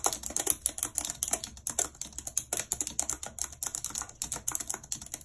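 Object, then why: Plastic computer keyboard keys. Very long red acrylic nails and fingertips type quickly and continuously on the hollow plastic keys of a full-size white and silver computer keyboard with a numeric keypad, lying on a map. The result is a dense stream of sharp, bright, clicky taps with very short decay and almost no low end.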